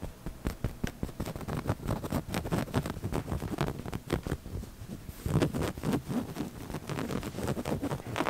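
Short painted fingernails and fingertips scratch and rub the large padded arm and seat of a sofa covered in soft, solid woven mauve fabric. A dense run of quick, muffled scratches and rustles sits mostly low, with little high brightness. A louder burst of scratching starts about halfway through and continues to the end.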